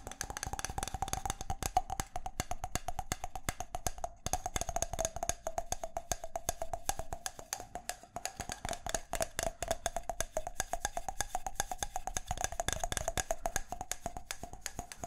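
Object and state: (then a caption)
Small round wooden object tapped. A small round wooden object is tapped and knocked rapidly with the fingertips for about fifteen seconds, giving a steady stream of short, dry clicks that barely ring. The taps carry a hollow woody tone around 730 Hz over a low thump and a faint high overtone, with a brief pause just after the four-second mark.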